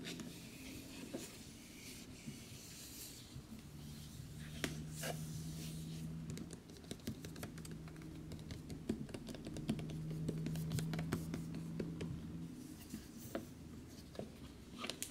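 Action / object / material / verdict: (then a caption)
tap / large cardboard box / cardboard / none. Fingertips and nails tap and scratch across a large, dark, printed cardboard collector's edition box for Fallout New Vegas, which is hollow inside. Soft, hollow taps come in an uneven rhythm over a quiet, dry scratching texture, with a steady low hum underneath.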